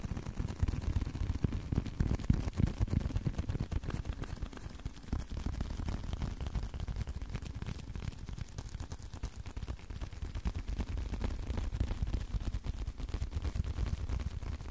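Continuous, fast tapping on a leather card wallet produces a steady stream of soft, dull, low thuds with very little high-end brightness. The taps come at an uneven pace throughout, with no speech.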